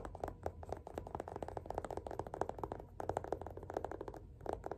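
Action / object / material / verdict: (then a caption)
tap / paperback book / paper / none. Fingertips tap quickly along the spine and page edges of a closed, solid yellow paperback copy of Othello held in one hand. The result is a quiet, rapid run of short, dry, papery taps centered in the low-mid range around 400 Hz, each dying away almost instantly, with a faint scratchy edge.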